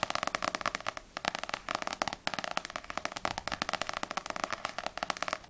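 Long nails rapidly tap the glossy paper cover of a small, solid paperback manga, Ousama Game volume 2, first on the front cover and then on the back. About thirty quick, dry, bright clicks come in uneven bursts with a brief pause near the middle. Each tap stops dead with almost no ring and very little low end.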